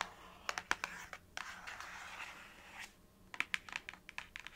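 Long nails tap and scratch across the printed face of a small, hollow paperboard box held in one hand. Sharp, bright clicks come in quick clusters, with a soft, scratchy rasp sweeping across the surface in the middle before the tapping resumes.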